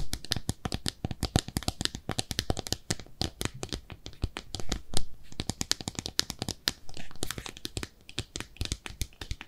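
Long nails scratch and tap a small, empty, pink speckled ceramic bathtub-shaped soap dish. The result is a dense, uneven stream of quick, dry clicks and scrapes that die away almost at once. Each tap carries a dull low thud under a bright, crisp edge.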